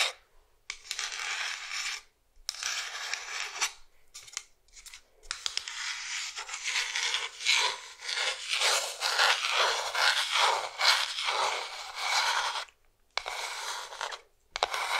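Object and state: Wooden cigar box scratched with nails.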